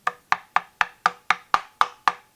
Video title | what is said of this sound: How to build a fretless guitar - radius & inlay - Make it Monday #3 AJG | now when you tap on the neck you can hear that there's no truss rod rattle at all and that truss rod is under no tension whatsoever